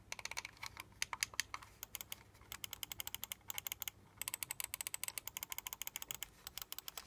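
Fingertips and nails rapidly tap and click on the buttons and sides of a small, hollow, black plastic LED gaming mouse. Dozens of short, dry, bright clicks come in quick bursts, with a brief pause near the middle, and each one stops instantly with no ring.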